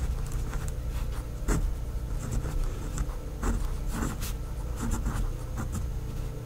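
A pink fineliner pen tip writes names in cursive on a flat sheet of a white lined paper notepad. Its scratching on the paper is continuous and soft, with brief bright strokes rising over a steady low hum.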